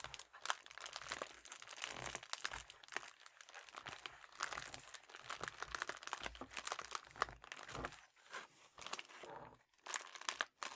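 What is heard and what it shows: A red metallic foil padded bubble mailer is held upright and bent while fingertips and thumbs crinkle it. It makes a steady stream of dense, bright crackling and crunching with sharp little snaps, pausing briefly near the end.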